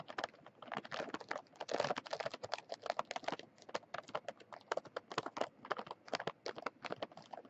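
Long fingernails tap and scratch on the front of a sealed Mint Oreo package, a plastic film wrapper full of cookies. A quick, uneven run of short, dry clicks and crinkly scrapes, with a faint midrange body around 590 Hz and bright, crisp tops. Each tap dies away almost at once, with very little low end.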